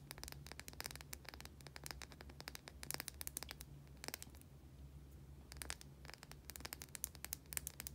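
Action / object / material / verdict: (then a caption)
scrape / bar of soap / soap / none. A white, solid, oval bar of soap held in both hands is scratched with long, dark-painted nails. This produces quiet, rapid, dry scratching clicks with a bright, crisp edge, coming in dense bursts with brief pauses. A steady low hum runs underneath throughout.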